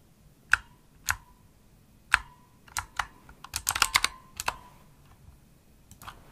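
A full-size pink plastic opto-mechanical gaming keyboard with RGB backlight and hollow key switches is typed on with fingertips and long nails. About a dozen sharp, clicky keystrokes come at an irregular pace, some bunching into a quick burst in the middle. The bright taps carry a brief ringing tone near 1 kHz over a quiet background.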